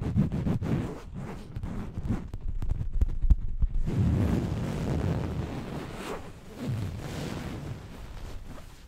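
Long nails scratch the fabric of a soft, stuffed orange printed throw pillow while hands shift along its edges. Quick, uneven scratching strokes give way after about four seconds to a steadier, muffled rustle, mostly low and dull with little brightness.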